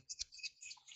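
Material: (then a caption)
Steel shot. A dead blow hammer is shaken, and the loose filling inside its head rattles in quiet, quick, high-pitched clicks and ticks. The rattle shows the head is not solid inside, which is normal for this kind of hammer.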